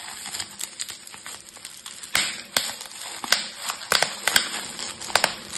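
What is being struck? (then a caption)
Plastic bubble wrap. Fingertips with yellow painted nails pinch loose, clear plastic bubble wrap, bunched over a plastic storage box, popping its hollow air-filled bubbles in rapid succession. Sharp, bright snaps burst over a steady crinkling rustle of plastic. Each pop cuts off almost instantly, leaving a thin, high, crackly sound with no low end.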